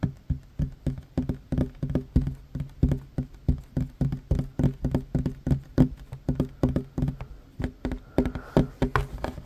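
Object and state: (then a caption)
Wooden tabletop. A hand with short fingernails taps quickly on a flat, solid wooden tabletop, lifting off between some strokes. The result is a rapid, steady stream of short, dull knocks with a low woody thud around 250 Hz. Each knock dies away almost instantly.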